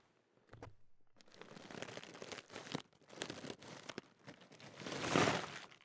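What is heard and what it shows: Fingertips crinkle a large Walkers crisp packet of thin, foil-lined metallised plastic with crisps inside, making bright, dry crackles in dense, uneven bursts after a brief silence. Near the end, the hand lifts and shakes the bag, building to the loudest rustling swell before it quiets.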